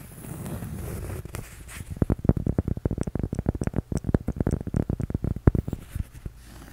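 A flat, solid, toast-shaped cork coaster is held in one hand while the nails and fingertips of the other hand scratch and tap it. The clip opens with about two seconds of soft, low scratching and rubbing. It then moves into a quick run of around two dozen dull, deep, muffled taps that stop dead with no ring, before fading out.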